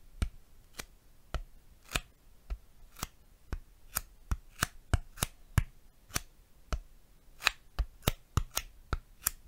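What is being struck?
Piece of styrofoam.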